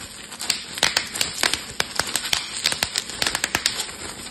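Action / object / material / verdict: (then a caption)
strike / plastic bubble wrap / plastic / none. A clear, air-filled plastic bubble wrap sheet is held in both hands while fingers and thumbs squeeze and pop the bubbles. About twenty sharp, bright pops snap out in an irregular run over a soft crinkling hiss, each dying away almost instantly.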